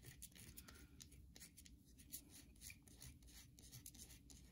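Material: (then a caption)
Soap. Long pink nails scratch and scrape across the surface of a hand-sized solid white bar of soap held in the hands over soap shavings. A quiet series of short, bright, dry scratching strokes repeats quickly over a soft low rumble.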